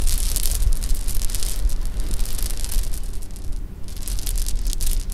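A pile of small, solid sugar-shelled jelly beans on a pink cloth is stirred and rubbed together with fingertips and nails. It produces a dense, continuous rattle of crisp, bright clicks and scratches over a deep low rumble, easing briefly at around 3.7 seconds before picking up again.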